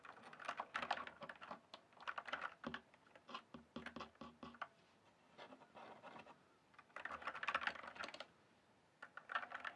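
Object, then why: Plastic mechanical computer keyboard. Fingertips type and tap on a full-size RGB-backlit plastic mechanical computer keyboard, its hollow keys sitting on a solid base. Bursts of quick, clacky keystrokes with short, dry decay alternate with brief pauses and lighter tapping, centered in the upper mids with a bright edge.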